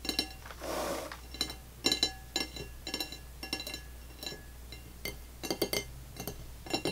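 Long fingernails of one hand, then both hands, tap on an empty dark blue glazed ceramic dinner plate lying flat. Many sharp, bright clinks come in quick irregular clusters, each ringing only briefly, with a short soft scraping rub near the start and a steady low hum beneath.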